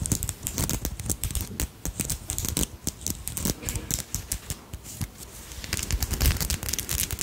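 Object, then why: Beaded crystal brooch. Long nails scratch and tap the bead-covered wings of a small beaded dragonfly brooch with purple crystals, held in the fingers. A dense, fast run of bright clicks and scratchy rattles sits over soft low thumps, with each tap dying away almost at once and a slightly louder flurry near the end.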